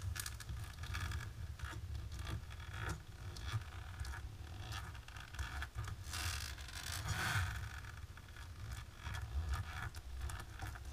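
Long natural pink nails scratch and tap quickly across a flat dark embossed plastic sheet. The sound is a steady, dense run of dry scraping and rustling, with brief tapping clicks over a low rumbling undertone.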